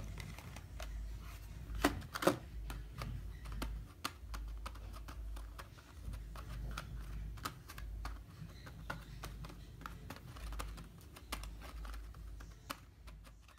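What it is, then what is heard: Cardboard paint box tapped. Fingertips and short nails tap and scratch across the top and sides of a small, closed, printed cardboard box of Koala tempera gouache that holds six plastic paint pots and lies on a dark surface. Dry, quick clicks and light scratches come in an irregular run over a low background rumble, with a couple of sharper, louder taps near the start.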